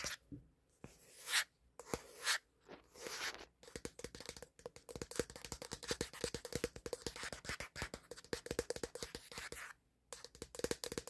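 Fingertips and nails tap and scratch fast on the flat plastic back panel of a black Samsung smartphone, which is the recording phone, held up to a mirror. A few slow brushing scrapes open the clip, followed by dense runs of crisp, dry clicks with a slight hollow midrange tone. A brief pause comes near the end before the tapping resumes, and each tap dies away almost instantly.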